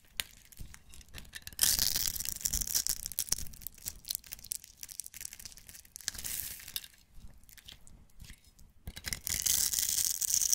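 A metal utility-knife blade scrapes and shaves the surface of a solid rectangular green-and-white striped bar of soap held in one hand, grating it into flakes. Bright, crisp scraping rasps come in uneven bursts, loudest around the second, sixth and ninth-to-tenth seconds, with quieter rustling in between.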